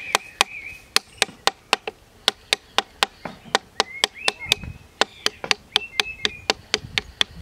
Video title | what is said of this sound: How to make a Sycamore Whistle! | Did you hear that click? The bark has now separated